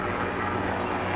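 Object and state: Nothing is struck.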